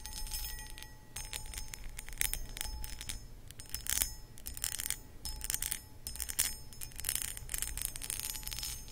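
Long acrylic nails scratch across the textured surface of a hollow, empty, medium cut crystal glass footed pedestal bowl, producing repeated bursts of bright, raspy scraping over a low steady rumble. Faint thin ringing tones from the glass linger under the scratches.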